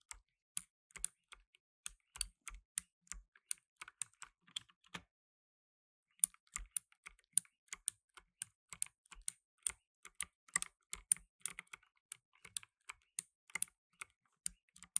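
Fingertips in blue nitrile gloves type fast on a black tenkeyless mechanical keyboard with plastic keycaps, producing a steady stream of sharp, bright clicks. The typing pauses for about a second near the middle, then resumes at a similar quick pace until the end.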